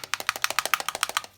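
A small plastic bottle of paint with a small steel ball from the hardware store inside is shaken, and the ball rattles in quick, bright, clicking taps to mix the paint. The rattling is steady and evenly spaced, then stops, which is normal because paint that has gone a little dry has to be shaken.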